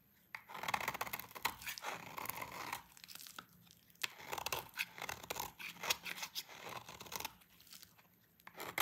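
A hand-sized solid white bar of dry soap is held in the hands and shaved with a utility knife blade, scraping off powdery, crunchy flakes. Bursts of bright, dry scraping and crackling come in uneven runs separated by short quiet gaps.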